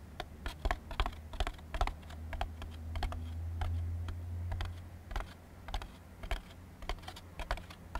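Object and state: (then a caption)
Molded paper plate. A thin, empty white molded-fiber paper plate is held upside down while its underside is tapped quickly with fingertips and nails. The result is a steady stream of short, dry, papery clicks and taps. A constant low hum runs underneath and swells briefly in the middle.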